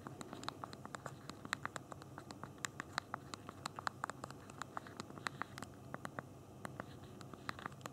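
Thumbs press the keys of a BlackBerry Q10's backlit plastic QWERTY keyboard, with the phone held in both hands, typing a message continuously. A quick, uneven stream of soft, sharp clicks sounds, each dry and very short, with a bright tick near 1.8 kHz over a quiet low rumble.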